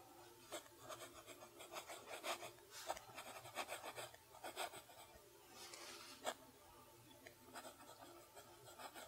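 A fountain pen nib writes cursive on a lined page of a spiral notebook. Quiet, bright, raspy scratching strokes come in short uneven bursts, with brief pauses between words.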